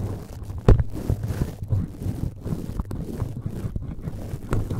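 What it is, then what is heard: Metal mesh microphone grille being scratched. A cotton swab scratches and rubs the red perforated metal mesh grille of a cylindrical microphone while fingertips touch it. The result is a close, muffled, low scraping rumble with soft thumps, the loudest near the start and again near the end.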